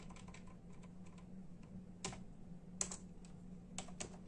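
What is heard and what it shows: Bare fingertips of both hands tap steadily on a full-size black and silver plastic membrane keyboard with hollow keys. The keys make quiet, short, bright clicks, with a few louder strokes in the second half, over a faint steady low hum.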